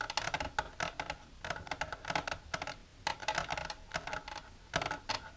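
Long silver nails tap rapidly against the inside walls of a long, empty, transparent plastic tray with a divider that lies on a table. The result is a quick run of short, dry clicks and ticks in irregular bursts, with a hollow plastic tone around 850 Hz and bright edges that stop almost instantly.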